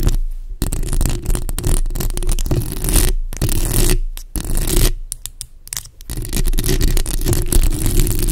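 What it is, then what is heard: Metal mesh microphone grille being scratched. Long acrylic nails of both hands scratch and tap the hollow metal mesh grille of a black bare condenser microphone head. The result is a dense, boomy, low rumble of close scraping and thumping, broken by a few brief quieter gaps.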